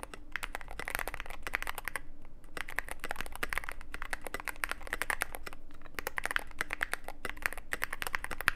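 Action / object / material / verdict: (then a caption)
tap / mechanical keyboard with plastic keycaps and metal case / plastic, aluminium / none. Fingertips type steadily on a Cyberboard mechanical keyboard with plastic keycaps and a black aluminum case. Quick, dry, clacky keystrokes sound with a bright upper-mid click and almost no ring, over a faint low hum. The typing runs continuously in dense bursts, with brief pauses near 2 and 6 seconds.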